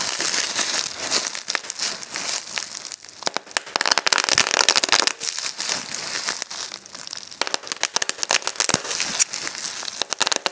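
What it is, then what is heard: Plastic bubble wrap being popped. A rolled piece of clear plastic bubble wrap is held in both hands while the thumbs squeeze and pop the bubbles. Rapid, sharp pops burst over continuous bright crinkling of the plastic, with almost no low end and each pop dying away almost instantly.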